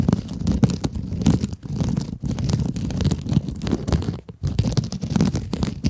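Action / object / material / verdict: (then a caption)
scrape / synthetic mesh scrub sponge with foam core / synthetic mesh / none. Long acrylic nails scratch the textured surface of a palm-sized, flat rectangular pink kitchen scrub sponge, which has a sparkly woven synthetic mesh cover and a soft foam core and is held upright in both hands. The result is a dense, continuous scratchy crackle, mostly low and rumbling with faint bright grit. It breaks off briefly a few times before resuming.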